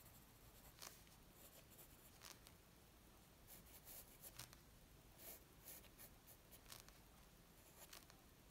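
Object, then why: Graphite pencil on a paper sheet. A graphite pencil scratches short strokes across a flat white paper sheet resting on a wooden table as a figure is sketched. About ten brief, bright, scratchy bursts rise irregularly over a quiet, steady low background hiss.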